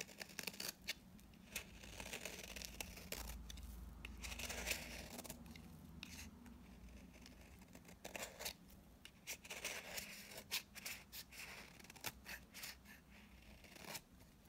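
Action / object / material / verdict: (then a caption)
scrape / bar of soap scraped with a blade / soap / none. A utility knife blade scrapes the edge and face of a solid, dry mint-green bar of soap held in the hand, producing dry shavings. Bright, crisp scraping and cutting strokes come in irregular bursts over a soft, steady low hum.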